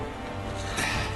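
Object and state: Nothing is struck.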